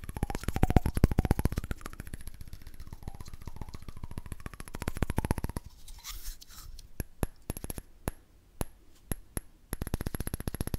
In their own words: ASMR: Cool Tapping Sounds on a Candle Lid